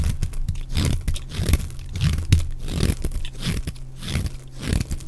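A utility knife blade scrapes and shaves flakes off the edge and face of a solid, dry, rectangular yellow bar of soap held in the hand. The result is a dense run of short, crunchy, tearing scrapes, close and dry, with most of the energy in the low range and quick bright edges on each stroke.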